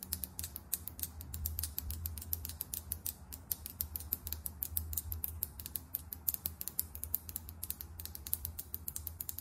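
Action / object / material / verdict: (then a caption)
tap / plastic lip gloss tube with metal cap / plastic / none. Long acrylic nails tap quickly on a small, filled lip gloss tube held sideways, striking both its body and its chrome metallic cap. Rapid, irregular bright clicks, each very short with almost no ring, sound over a steady low hum.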